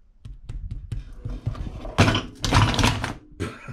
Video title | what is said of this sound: How to bake a loaf of bread | what we're listening for when we tap it is a hollow sound